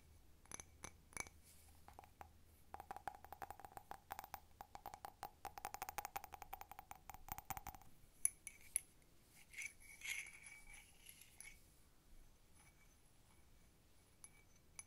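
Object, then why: Ceramic cup. A blue patterned handleless cup that appears to be ceramic, hollow and empty, is tapped with long nails on its side and bottom while it is tilted in the hands. Quick, crisp clicks come in fast bursts with a faint mid tone and bright high glints. Each tap dies away almost at once, and after the busy middle stretch the taps become sparser and lighter.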